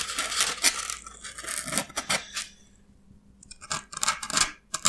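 Fingernails scratch and pick at the rough broken surface of a solid, hand-held piece of white expanded polystyrene (styrofoam). Bright, crackly scraping bursts come in quick clusters, with a short near-silent pause in the middle before the scratching resumes. The sound is thin and high, with almost no low end and very little ring.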